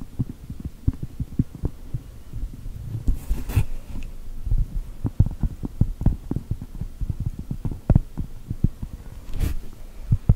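Long gel nails tap and scratch a large, thin, solid round cork mat printed to look like a cookie. A rapid series of soft, dull, low thuds is broken by brief, brighter scratching rasps near the start and end.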